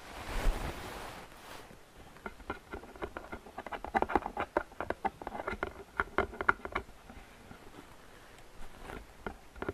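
Long painted fingernails tap and scratch the sides and rim of a medium, hollow, open-top gift box made of printed paperboard with a flower pattern, which appears empty. A broad, brushing scratch opens the clip, followed by a quick, irregular run of sharp, dry clicks and taps with a light hollow ring. Softer scratching fills the gaps between the taps.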